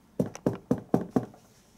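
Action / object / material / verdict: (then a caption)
knock / cardboard packaging box / cardboard / solid. Knocks on the cardboard packaging box of a Storm Collectibles Mike Tyson Special Edition figure, limited to 300 pieces. Five firm, dull, low-pitched knocks with a lighter tap between the first two die away almost at once. The box sounds rock solid, made of proper quality card and very sturdy.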